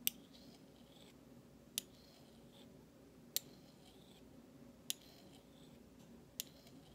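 The bowl of a large stainless steel spoon, thin solid metal, is scraped and tapped with the flat metal handle of a utensil held in the fingertips. Five sharp, bright ticks land about every one and a half seconds and die away almost instantly. Between them come soft, hissy scraping strokes over a quiet background.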